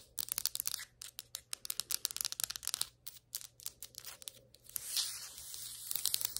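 Long white acrylic nails tap and scratch on flat, solid ceramic floor tiles, sometimes farther from the camera. A quick, uneven run of bright, sharp clicking taps with almost no ring gives way near the end to a steady, hissy scratching across the tile surface.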